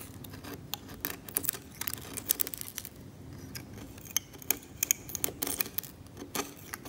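A hand-held steel scalpel scrapes cracked, yellowed varnish on an oil painting on canvas, with loose varnish flakes lying on the surface. The result is a quiet, irregular run of short, dry, bright scratches and ticks that stop sharply, over a low, soft hiss.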